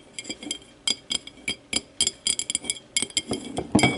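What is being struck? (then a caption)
Empty glass tumbler. A small, empty, clear glass whiskey tumbler lies on its side while long matte nails tap and scratch its base and wall. Quick, bright glassy clinks ring briefly in an irregular rhythm over a faint scratching texture, with a louder cluster of taps near the end.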